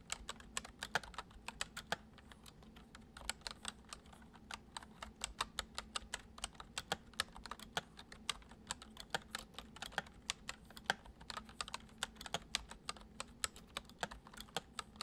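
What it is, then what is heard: Plastic computer keyboard being typed on. Fingertips type on a full-size white plastic computer keyboard resting on a wooden desk. A steady stream of short, bright, crisp key clicks sounds over a faint low hum.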